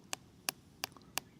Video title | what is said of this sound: 【衝撃の断面】叩くだけで中身を見抜く。プロが教える「発酵メロン」の原因と見極め方 | जब मैं इसे थपथपाता हूँ, तो न केवल इससे आवाज़ आती है, बल्कि मेरे हाथ में एक कंपन भी महसूस होता है जो पानी की नमी जैसा होता है।